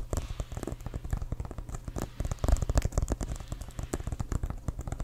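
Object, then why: Inflated synthetic-leather football. A full-size, inflated brown CFL composite synthetic-leather American football is held upright and tapped quickly with fingertips and nails. It makes a fast, dense run of short, dull, low thuds, with faint clicks where the nails strike. Each tap dies almost at once, with no ring.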